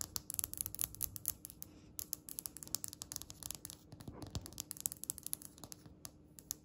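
Long red nails tap rapidly on a flat, solid, speckled grey polished stone countertop. The result is a quiet stream of sharp, dry, bright clicks that stop instantly with no ring, broken by brief pauses near the two- and six-second marks.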